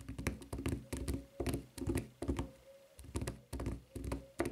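A white rubber flip-flop with a red rubber strap lies upright while long nails tap quickly on its flat footbed and edge. The taps are dull, low thuds in rapid, uneven bursts with very short ring, separated by brief quieter pauses.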